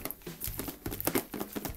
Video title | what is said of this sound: Распаковка LeEco Le S3 X626 4G из GearBest. ZTD#313 | + телефон слышно болтается внутри